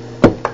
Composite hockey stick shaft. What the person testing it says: now it sounds more firm